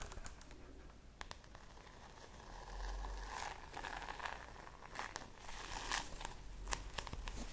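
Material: Plastic.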